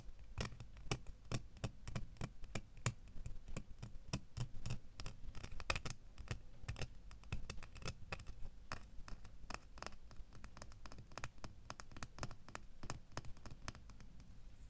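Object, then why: Small metal key tapped with fingernails. Fingernails tap on a small solid metal door key held in both hands. Many quick, light, bright clicks come in an irregular stream over a steady low hum, each dying away almost at once.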